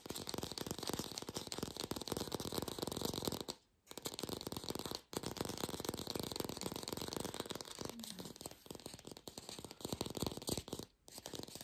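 An artificial plastic green apple is fast-tapped in a lo-fi recording made without a microphone. A dense, continuous stream of quick, dry clicky taps with a rattly texture is heard, broken by a few brief pauses.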